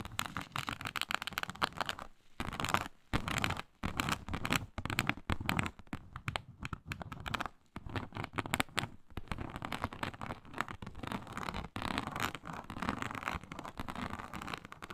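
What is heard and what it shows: Long nails on both hands claw and scratch across a flat, iridescent faux snakeskin mat of embossed reptile-pattern synthetic leather. Dense, crackly scratching strokes run throughout, broadly spread from low to bright, with brief silent gaps between bursts.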